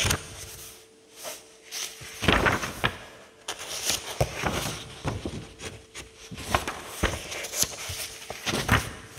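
Fingertips rub the pages of an open paperback book resting on a table, then a single paper page is lifted and flipped over. Soft, dry papery rustling and crackling come in uneven bursts with brighter, sharper crinkles as the page turns, over a faint steady hum.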